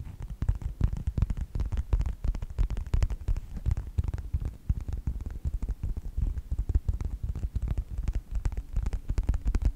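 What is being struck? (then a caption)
Faux leather wallet. Fingertips scratch and tap a yellow faux leather wallet with a snap strap, held edge-on and then face-on. Quick, irregular taps and scratches land in a steady stream, each sharp-edged but dull and low, with almost no ring after each touch.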